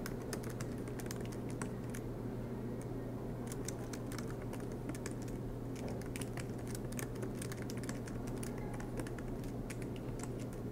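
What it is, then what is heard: Laptop keyboard being typed on. Both hands type continuously with their fingertips on a silver MacBook Pro laptop keyboard, whose low-profile black plastic keys sit in an aluminium body, resting on a desk mat. The keys give off a steady run of soft, quick clicks and taps over a constant low hum.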